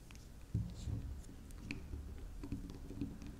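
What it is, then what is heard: Soft soap. Long acrylic nails tap and scratch the spiral top of a small, round, solid pink spiral soap resting on a table. The result is a soft, muffled, low-pitched patter of dull taps and scraping, with little brightness and almost no ring after each touch.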